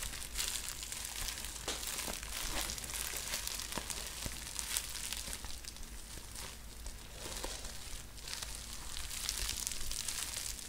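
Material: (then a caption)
Plastic. A sheet of clear plastic bubble wrap, held in both hands, is crinkled and squeezed by the fingers. The result is a steady, bright crinkling rustle with small sharp snaps scattered throughout, over a faint low hum.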